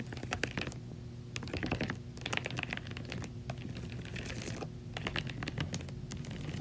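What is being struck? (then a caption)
Plastic laundry basket scratched and tapped with long nails. Long acrylic nails scratch and tap the slotted side of a large, hollow white plastic laundry basket filled with clothes. Quick clusters of bright, dry clicks and scratchy rasps come in bursts separated by brief pauses. A steady low hum runs underneath the whole time.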